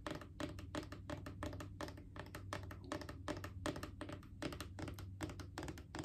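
Long painted fingernails tap fast on a hollow plastic Clorox disinfecting wipes canister, making quick, uneven, clicky taps with a hollow, knocking body. The taps ring only briefly and sit over a steady low hum.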